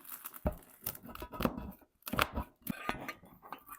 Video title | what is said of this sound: Съели за 10 минут! Домашние Турецкие Бёреки с картофельной начинкой! Узбекская Самса | Sentite che croccantezza? Gli strati sono incredibilmente croccanti all'esterno